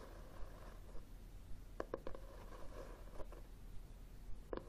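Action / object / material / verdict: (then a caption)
tap / cloth-bound hardcover book / cloth, board / none. A red, textured, cloth-bound hardcover book is held upright while fingertips and nails tap and scratch its cover. Soft, dull taps stand out as short clicks over a faint, steady scratching hiss. The sound is quiet and close, and each tap dies away almost instantly.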